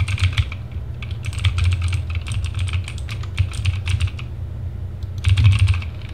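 Fingertips of both hands type fast across a compact RGB TGT Sherman Mini mechanical keyboard with plastic keycaps, producing dense bursts of bright, clicky keystrokes. The typing pauses briefly near the end before another quick flurry, all over a steady low hum.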